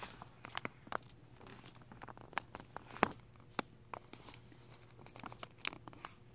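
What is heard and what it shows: A torn piece of thin clear plastic wrap covering a carpet roll is pinched, crinkled and pulled with fingertips and painted nails. Sharp, bright crackles and snaps pop out irregularly over a quiet, steady low hum, each dying away almost instantly.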